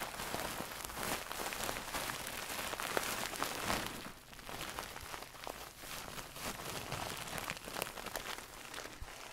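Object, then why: Stuffed pillow with satin cover. Long nails scratch across a medium-soft stuffed pillow with a gold satin cover, making a dense, bright, hissing scratch and rustle. It runs continuously with irregular strokes, dipping slightly quieter midway before picking up again.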